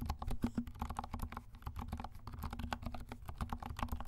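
Both hands' fingertips type rapidly on a compact 68-key mechanical keyboard with dark plastic keycaps and silent switches. The key presses come as a steady stream of soft, muffled, low-pitched thocks, with only faint brightness and very short decay between strokes.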